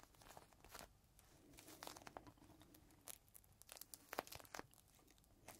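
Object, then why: Thin plastic bag with a cloth inside. Fingertips squeeze and crinkle a small clear plastic bag holding a folded green microfiber cloth, held close to the mic. The quiet, soft rustling is broken by many sharp, bright crackles and snaps of the thin plastic, with the cloth dulling the low end.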